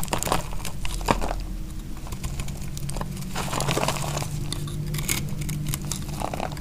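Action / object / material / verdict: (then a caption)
scrape / small bar of soap cut with a knife blade / soap / none. A utility knife blade slices through a small, solid piece of dry pink soap, giving dense, crunchy crinkling and scraping cuts. The crunches run almost continuously over a faint low steady hum.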